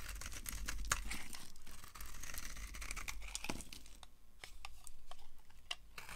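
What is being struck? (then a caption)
Bar of soap scraped with a metal blade. A solid green bar of dry soap, held in the hand, is shaved and carved with a yellow-handled utility knife, its metal blade scraping and cutting as curled flakes pile up on a grey surface. The clip is a steady run of dry, crisp scrapes and crunchy, crinkling shaves with bright, sharp edges and quick pauses between strokes.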